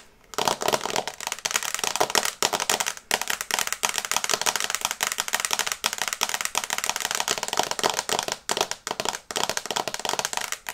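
Long red nails tap fast on the glass screen of a small, flat smartphone in a teal and brown case held in both hands. The result is a dense, rapid stream of sharp, dry, bright clicks that stop short, with brief pauses between bursts.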